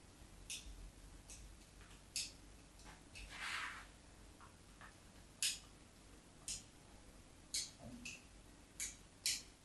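The tip of a metal craft knife scores lines across the surface of a solid white soap bar held in the hand. The result is a series of short, bright, crisp scratches, with one longer scrape near the middle, separated by quiet pauses.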